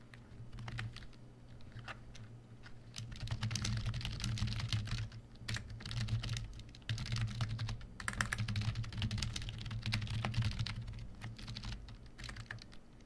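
A full-size black plastic Koshi KB1388 membrane computer keyboard is typed on with the fingertips of both hands, recorded on an H1 microphone. Soft, dull keystroke clicks and taps come in an irregular, fairly quick stream, rising and falling in bursts over a steady low hum.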